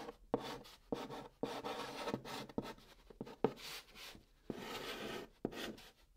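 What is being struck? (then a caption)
Chalk stick on cardboard box top. A white chalk stick held in the fingertips writes Korean letters on the top of a large, flat, hollow brown cardboard box. Short scratchy strokes start with sharp taps and rasp across the surface, carrying a hollow mid-range tone with quick gaps between them.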